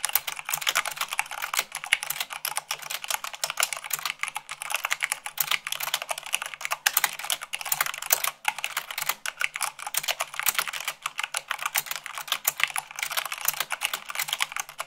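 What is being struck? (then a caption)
Plastic mechanical keyboard keys. Fast typing with fingertips and long nails on a black plastic mechanical keyboard with white plastic keycaps. A dense, steady stream of sharp, bright clicks and clacks runs throughout, with almost no low end and very short decay on each keystroke.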